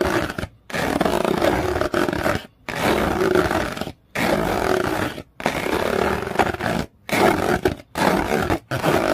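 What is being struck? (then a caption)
Corrugated paper sheet. A flat yellow corrugated paper sheet with fine ridges is scratched and raked across its ridges with long fingernails. The strokes come in long, dense, rasping bursts separated by short silent gaps. The sound is rough and scratchy, with a mid-range body.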